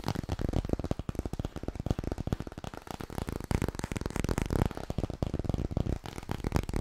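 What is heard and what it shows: Fingers tap rapidly on the hardcover book "Klaar voor bed," producing a steady stream of dull, low thuds that die away almost instantly. The taps blur into a fast, uneven patter with no speech.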